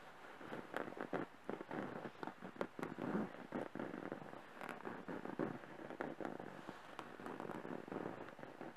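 Fingertips and short nails scratch, tap and rub the cream printed cotton cover of a soft, filled stuffed pillow, with rings and a bracelet on the hands possibly adding faint sounds. A quiet, steady stream of dry, crackly scratching and soft muffled taps fills the clip, with short bright clicks popping out here and there.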